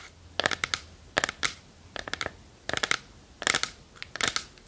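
Long nails tap and scratch the lid and front of a small hollow wooden treasure chest box held in both hands. Quick, dry clicks come in irregular bursts of several taps, bright and crisp with almost no ring and little low end, separated by a quiet hiss.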